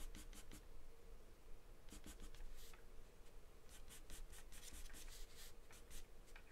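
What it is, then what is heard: Pencil scribbling on paper. A wooden pencil makes scribbling strokes on a sheet of taped white drawing paper that is thin and flat. Quick, bright, scratchy strokes come in bursts over a faint low hum and stay soft and steady throughout.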